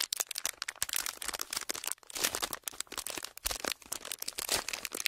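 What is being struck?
Thin clear plastic wrapper.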